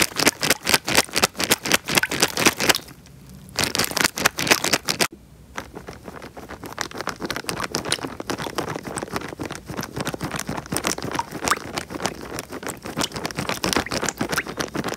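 A small clear plastic bag full of water is pressed and rubbed by fingertips close to the microphone as the water shifts inside. Rapid, bright crinkling taps and scrapes come in a fast, uneven patter with brief pauses, then settle into a quieter, denser stretch of rubbing.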